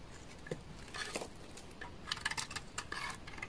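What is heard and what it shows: A solid beige bar of dry laundry soap, held in the hand, is scraped with a utility knife blade, sending flakes falling. Short, crisp, scratchy scrapes come in quick, irregular bursts. Each has a bright, dry edge that dies away almost instantly over a quiet background.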